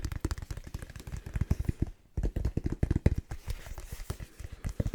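Rapid fingertip tapping on a light 8 oz Wilson official-size indoor volleyball with a synthetic leather surface, heard as many quick, dull, low thuds with almost no ring. The taps run steadily apart from a brief pause near the middle.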